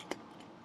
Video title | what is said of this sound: Exam 2 Butter!! | if I shake it you can kind of hear that solid moving up in there